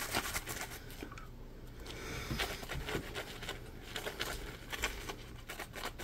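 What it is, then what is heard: Foam scrub sponge. A yellow, palm-sized Scrub Daddy sponge of solid polymer foam is held in both hands while fingertips scratch and squeeze its textured surface. Soft, crinkly scratches and bright, quick taps patter irregularly over a low, dull rustle, each sound dying away almost at once.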